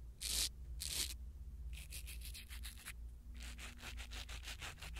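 A blue silicone-bristle ear pick rubs and scratches a small black foam windscreen on a pin microphone. Two long, bright rasping sweeps are followed by quicker, repeated scratchy strokes, all over a steady low rumble.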